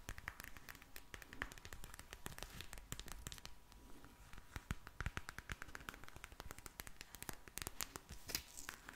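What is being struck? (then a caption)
Plastic gel bead eye mask. A pink plastic gel bead eye mask is rapidly tapped with long nails, giving a dense stream of sharp, clicky, crackling taps. The taps are bright and quick-decaying over a soft low-frequency rumble, with a faint steady hum in the background.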